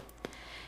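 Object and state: Fully baked bread loaf, sounds hollow.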